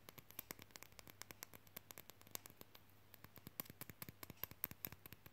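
Long fingernails tap and scratch quickly on a small, solid painted wooden nesting-doll-shaped magnet, across its front and its flat wooden back with a small metal magnet disc. The result is a rapid, uneven run of sharp, dry, bright clicks with almost no ring, over a quiet steady low hum.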